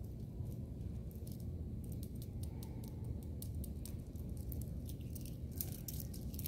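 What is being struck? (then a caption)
Stone bead bracelet. A small bracelet of round purple gemstone beads is held loosely in one hand with long painted nails over a grey tiled floor, shaken and rolled in the palm so the beads click together. Quick, bright clicks sparkle irregularly over a steady, soft low rumble that fills the whole clip.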